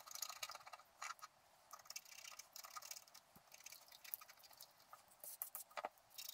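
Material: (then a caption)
Coated paper. A wooden stylus scratches along the bottom edge of a flat scratch-art card made of black-coated paper. Quiet, dry, bright scratching comes in short irregular bursts and patters with brief pauses, with almost nothing in the low range.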